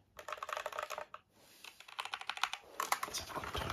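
A full-size white Azio mechanical keyboard for the Apple iMac, with plastic keycaps and frame, is held in the hand while fingertips press and tap the keys in a typing motion. Bright, crisp plastic clacks come in quick bursts with a brief pause near the middle. Each keystroke is short and dry, with almost no ring.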